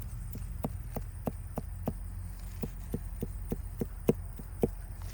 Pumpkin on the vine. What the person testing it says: it sounds like you're knocking on the door that's a good hollow sound